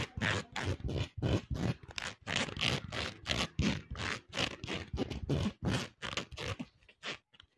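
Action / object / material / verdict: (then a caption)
scrape / plastic hair comb / plastic / none. Fingers and nails are run quickly along the fine teeth of a hand-length green and white plastic hair comb held in both hands near the mic. It makes fast, rough scratching and scraping bursts, about three per second, each a low grunting rasp with a bright crackly edge. The strokes grow shorter and quieter toward the end.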